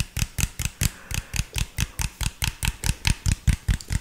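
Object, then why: Plastic drink bottle. Fingertips tap and scratch the body of an empty, hollow, clear PET drink bottle with an orange label. The result is 19 quick, hollow taps in an uneven rhythm, each a short low thump with a bright plastic crackle that dies away almost at once.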